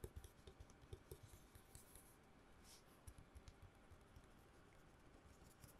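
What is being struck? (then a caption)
Long cardboard tube. Long nails tap fast on a long hollow cardboard tube held in both hands near the mic. It makes a quiet, rapid series of dull, hollow, low thumps with faint scratchy clicks and almost no ring.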